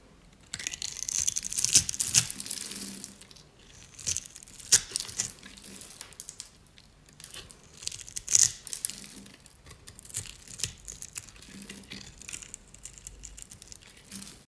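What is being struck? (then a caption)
Soap bar cut with a knife. A utility knife cuts a grid into a solid oval dry red soap bar held in the hand, then scrapes off crunchy cubes. Bright, dry crunching and scraping come in bursts with short sharp cracks, with a louder stretch early on and quieter scraping later.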